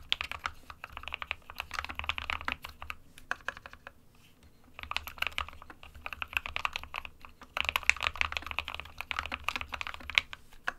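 Fingertips of both hands type on an SK61 compact 60% plastic mechanical keyboard with white and grey keycaps. It makes rapid, bright, clicky keystrokes with very short decay, with a brief pause around the fourth second before typing resumes.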